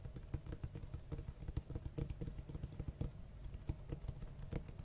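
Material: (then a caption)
Cloth, board. Fingertips tap and scratch the front cover of a large, solid black hardcover book with a cloth-textured cover and white page edges. The result is a quick, uneven run of dull, low, muffled thumps with very short decay, mixed with soft scratching between taps.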